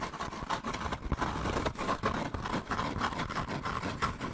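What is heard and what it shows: Medium-length painted nails scratch and tap along a hollow brown kraft paper bag, textured and slightly embossed, held close to the microphone, while fingertips rub and grip it. The result is a dense, continuous run of papery scratching and quick taps with brief crinkly peaks, centred in the midrange over a soft low rumble.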